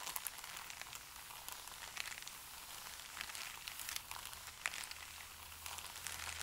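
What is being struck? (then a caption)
Stack of thin paper sheets. Fingertips and palms rub, slide over and wrinkle the top sheets of a stack of thin, pale paper sheets on a table. The result is a quiet, steady, bright rustle full of quick, crisp crinkles and small crackling ticks, with very little low end.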